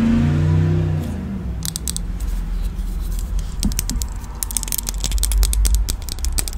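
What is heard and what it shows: A small red plastic disposable lighter with a metal top is held in both hands while long nails and fingertips fiddle with it near the microphone. Quick, uneven clicks and flicks of the mechanism come in sharp, bright bursts over a steady low rumble.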